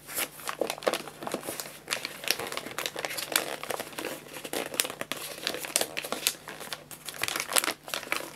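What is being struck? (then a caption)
Paper pet food bag. Fingertips press, rub and crinkle the folded-over top of a white paper bag of guinea pig food filled with pellets. Dense, bright paper crinkling with quick, sharp crackles rises and falls in irregular bursts over a thin background, with almost no low end.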